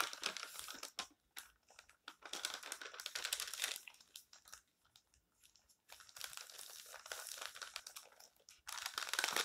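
Fingertips turn, rub and crinkle the thin, flexible pages of an open stack of colorful glossy paper magazines on a table, then smooth them flat. Bright, papery crinkling and rustling come in irregular bursts separated by quiet pauses, with almost no low end.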